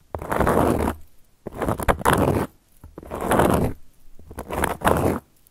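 Long gold metal claw nails scratch across a round, flat, solid cork coaster. Four separate passes of dry, rough scraping rise and fade, each with a low rumble underneath and a gritty, bright edge, with short quiet gaps between them.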